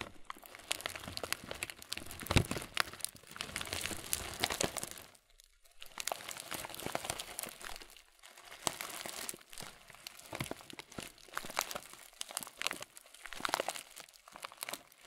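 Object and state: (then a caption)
Plastic bag of granola. A clear plastic muesli bag full of granola is held upright and squeezed, so the contents crunch. Bright crinkling of the plastic mixes with dense crunching of the granola in several bursts, broken by short pauses.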